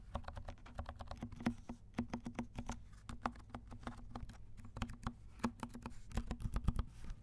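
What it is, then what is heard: Plastic mechanical keyboard with silent switches. Fingertips of both hands tap quickly across a compact mechanical keyboard with black and pink plastic keycaps and silent switches. Each keystroke is a soft, muted, low thud with almost no ring, and the taps run in a steady, dense typing stream.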